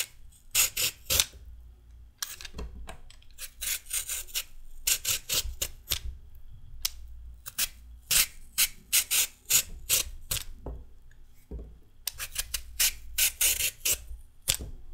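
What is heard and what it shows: A metal peeler is drawn down a solid raw carrot, peeling it into long strips. Each pass makes a short, bright, raspy scrape with little low end, repeated in quick bursts separated by brief pauses over a faint low hum.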